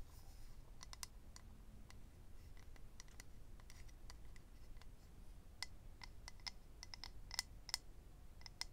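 Fingernails tap and scratch the surface of a small, hollow, rectangular clear plastic or acrylic eyelash case holding rows of lash strips. Scattered sharp, bright clicks sound over a quiet low background hum, each one dying away almost instantly, with a few louder taps near the end.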